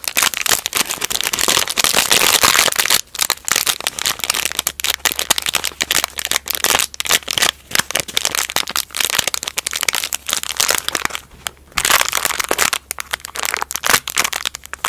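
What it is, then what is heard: Gauze roll in crinkly plastic wrap. A small white gauze bandage roll sealed in a thin clear plastic wrapper is held and squeezed, then flattened on a table and scratched with long nails. The result is a dense stream of bright, crackly plastic crinkles and sharp scratchy ticks, with a faint low hum underneath from about four seconds on.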